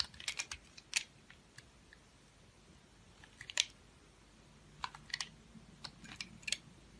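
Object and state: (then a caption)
Bar of soap being cut. A knife blade shaves and cuts slices from a solid, hand-held, round multicolored confetti bar of soap. Crisp, dry, high-pitched scraping clicks come in short clustered bursts, each dying away almost instantly, with quiet pauses between the cuts.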